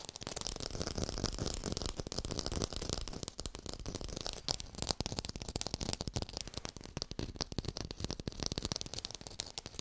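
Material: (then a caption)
Plastic. Fast tapping on an artificial orange with a textured surface, recorded in high fidelity. A dense stream of short, dry taps runs nonstop with no ringing, mixing low thuds with bright crackly clicks, and the first few seconds are busier and steadier before the taps turn more uneven.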